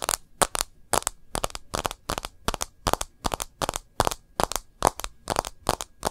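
Long nails tap and scratch the glass screen and edge of a white-front smartphone in a rose-gold bumper case, held landscape. There are 23 short, sharp clicks and scrapes with bright crackly highs, each dying away almost instantly, over a quiet background.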